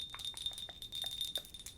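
Nails tap repeatedly on a small handleless ceramic cup bought in Japan, giving quick, bright clinking rings with a steady high chime-like tone. Each tap dies away almost at once, and the sound is thin with almost no low end.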